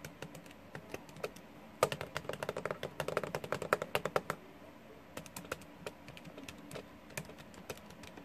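Fingertips and nails of both hands rapidly press and tap the plastic keys of a small, hollow, blue plastic scientific calculator lying on a wooden desk. Dense runs of short, dry clicks come fastest and loudest in the middle of the clip, then ease into lighter, sparser taps.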